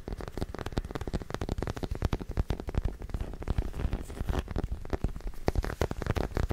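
Fingertips and nails tap and scratch a small white plastic acupuncture model figure, likely hollow, held close to the mic. A rapid, uneven run of dull, bass-heavy taps is heard, each dying away almost instantly, with soft scratching between them and little brightness on top.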